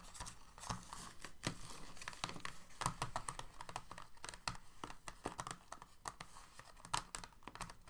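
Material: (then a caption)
Plastic. Fingertips and nails of both hands rapidly tap and scratch the hollow ridges of an empty, clear, thin moulded plastic blister tray sitting in a white box. The result is a quick, steady stream of short, dry, hollow clicks and crinkly scratches, with a low thumpy body and bright crackling edges that die away almost instantly.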